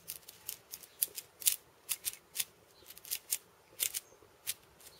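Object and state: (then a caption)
Steel bead cabasa. Purple fingernails tap and scratch the steel ball chains and wooden rim of a steel bead cabasa, a hollow wooden cylinder wrapped in steel ball chains. About fifteen short, bright, rattling clicks and scrapes sound with very quick decay and almost no low end.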